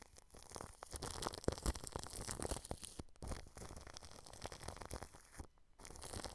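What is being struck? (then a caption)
Plastic cling film stretched over a microphone. A paintbrush brushes over clear plastic cling film wrapped over a microphone grille, making a steady, close crinkling and scratchy rustle. The brushing runs continuously for about six seconds with brief pauses near the three-second and five-and-a-half-second marks, with a soft low rumble beneath the bright crackle.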